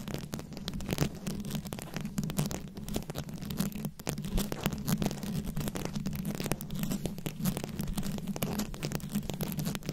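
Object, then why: Rhinestone-studded microphone head scratched with long nails. Long nails scratch quickly over the rhinestone studs covering a microphone head. The result is a continuous, dense, rapid scratching texture with a low hum-like body around 176 Hz. Many short, clicky strokes run together without pause.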